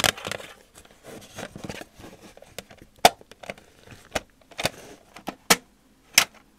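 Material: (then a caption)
Metal. A metal tin is tapped with the fingers, giving a run of quick, dry taps with bright, high edges and very little ring. Softer rustling and handling sounds fill the gaps between the sharper taps.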